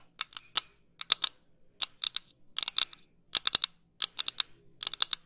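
Long pink nails tap and scratch a pair of small, light, thin wire-frame metal eyeglasses with clear lenses, held close to the mic. Crisp, bright clicks arrive in quick, irregular bursts of two to four, each dying away instantly with no ring, separated by brief near-silent pauses.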